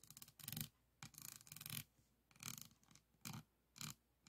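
A pink plastic pen tool is rubbed and scraped over the faceted resin beads of a flat diamond painting board lying on a table. Bursts of bright, rasping scratches come in short strokes and longer scrubbing passes, separated by brief quiet gaps.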